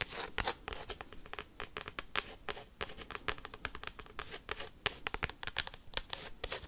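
A cork coaster is tapped and scratched quickly with paperclips, making a fast, steady stream of dry, sharp clicks and scratchy rasps. The sounds are bright and crisp, centered around 3 kHz with a light low thump, and each one stops almost instantly with no ringing.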